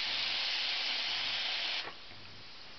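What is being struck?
Nothing is struck.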